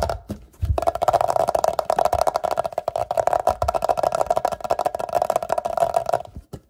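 A medium, hollow, empty clear glass jar or vase, held up in the air, is tapped and scratched all over by short fingertips and nails. Fast, dense clicking and scratching sit over a steady tone near 680 Hz that hums through most of the clip before stopping just before the end.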